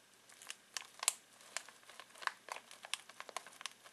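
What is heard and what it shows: Fingertips scratch and crinkle a full foil-plastic snack bag of pistachios, making a quiet series of sharp, bright crackles at an irregular pace. Each crinkle snaps off almost instantly, with a thin hiss between bursts and no low-end body.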